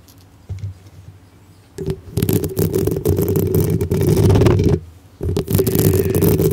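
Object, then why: Metal mesh microphone grille. Long pink acrylic nails on both hands scratch directly on the hollow black metal mesh grille of a medium-sized cylindrical microphone with a rhinestone-decorated body. After a quiet start with a few light touches, a dense, loud, rumbling scratching sets in, heavy in the low end. It breaks off briefly and then resumes just as strongly.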